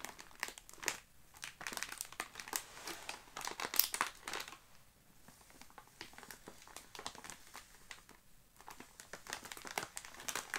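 Both hands press and squeeze a sealed Oreo Space Dunk cookie package, made of crinkly plastic film and full of cookies, as it lies flat on a grey carpet. The fingertips and palms produce dense, bright crinkling in bursts, with quieter stretches between them.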